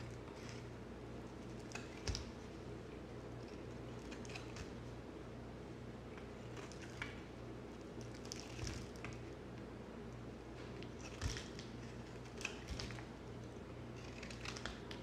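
A utility knife with a yellow handle carves quick scraping strokes across the surface of a solid orange soap bar held in the hand. Soft, crisp scrapes and light clicks repeat over a steady low hum, with a few sharper bright cuts standing out.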